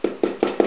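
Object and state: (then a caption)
Fully baked bread loaf (hollow). A baked country bread loaf, still in the oven, is tapped and knocked with a metal object, giving four quick, dull knocks with a low-mid hollow tone around 350 Hz and almost no ring. The hollow sound shows the loaf is perfectly baked through.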